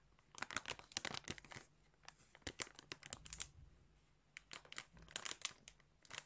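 Fingers crinkle and squeeze a thin clear plastic bag filled with colored yarn. Quiet, bright, crackly crinkles come in quick clustered bursts separated by short pauses, with almost no low end.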